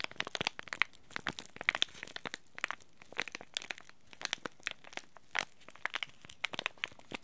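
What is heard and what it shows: A small green laminated plastic-foil tea bag packet is held in both hands and squeezed and crinkled by fingers and short nails. It makes a quick run of sharp, bright crackles and crinkles with no ring, their energy centered around 2 kHz. Quiet pauses separate the bursts, and there is little low end.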